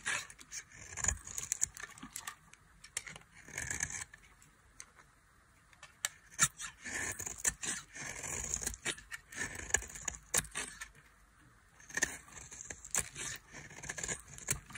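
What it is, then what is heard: Dry soap bar scraped. Quiet, bright scraping and crisp crackling as a metal knife shaves the edge of a solid, dry orange soap bar into flakes. Bursts of fine scratching come in uneven runs with short pauses between them, and the sound stays mostly high and dry with little low end.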